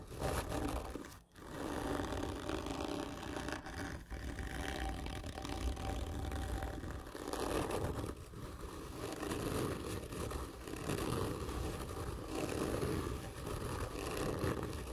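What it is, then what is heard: Cardboard tube. Long nails scratch hard and slowly along a long, hollow, black printed cardboard gift tube lying on its side. The result is a continuous, low, rough scraping with a hollow resonance and brief pauses between strokes.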